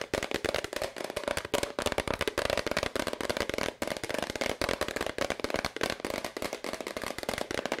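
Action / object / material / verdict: tap / plastic powder bottle / plastic / none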